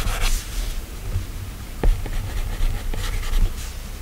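A plastic stylus tip is drawn in quick strokes across the solid glass screen of an iPad, making soft, bright scratching and rubbing with sharp little taps. The taps are short and dry, with almost no ring after each one.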